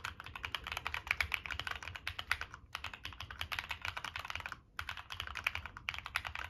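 Fingertips type continuously on a Monsgeek M1 mechanical keyboard with a black aluminum case, plastic keycaps and NK Cream switches. Rapid, bright keystroke clacks run in steady bursts, with two brief pauses along the way. Each click is short and dry.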